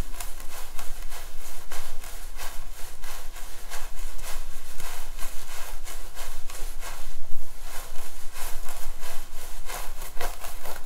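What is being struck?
Synthetic hair wig on a mannequin head.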